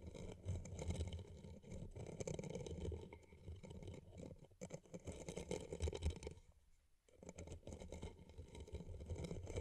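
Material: Rhinestones, paper.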